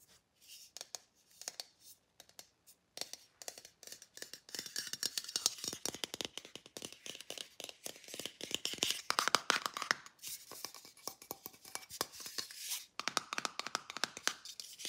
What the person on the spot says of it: ASMR: tapping on an aerosol can